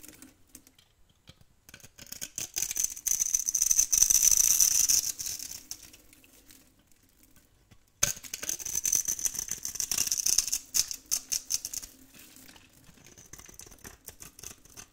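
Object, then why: Soap bar. A metal blade scrapes shavings from the edge of a hand-sized, solid yellow dry soap bar held in the hand. The result is two long bursts of dry, bright, rasping scratches with a high hiss, separated by a brief quiet pause. Each burst fades into softer, sparse scraping ticks.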